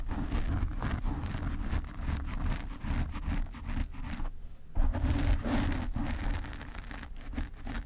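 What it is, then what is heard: Foam microphone windscreen. Fingertips and nails grip and scratch the black foam windscreen on a desk microphone. This makes a dense, irregular, muffled rumbling scrape that sits almost entirely in the low end, with a faint crackle above it. The sound briefly thins out just before the midpoint, then returns slightly louder.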